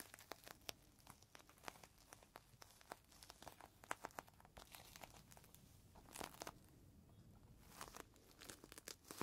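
A folded green microfiber cloth inside a clear plastic bag is squeezed between both hands while the fingertips crumple and crinkle the plastic. Quiet, rapid crackles and sharp crinkling snaps come in dense bursts, with softer rustling between them and no lingering ring.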